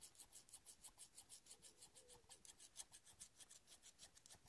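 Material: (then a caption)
Steel. Fingers rub along the solid metal blades of large steel scissors with black handles, held in both hands, near the pivot and handle. The result is a quiet, rapid rasping, about three short strokes per second, each bright and high-pitched with a hiss that dies away almost at once. A faint tone sits underneath around two seconds in.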